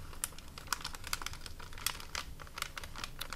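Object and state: Plastic cookie bag.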